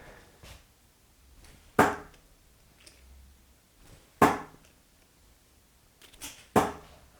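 Darts are thrown into a Target TOR bristle dartboard, landing with three sharp, short thuds and a few fainter knocks in between. The board is fairly quiet on impact, though a springy ping comes from its wall clamp.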